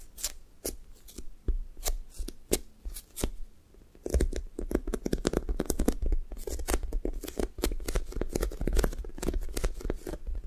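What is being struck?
Foam squishy toy.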